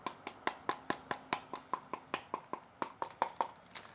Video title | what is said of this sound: Sony WH-CH710N Unboxing - $80 Active Noise Cancelling Headphones | These feel very light and plasticky.